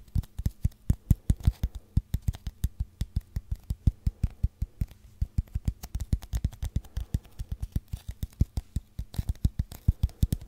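A long, hollow brown cardboard tube, first upright and then held horizontally, is rubbed and scratched with fingers and nails. The result is a rapid, steady series of about 72 short, dull, low thumps and scrapes. Each one is deep and hollow-sounding and dies away almost instantly.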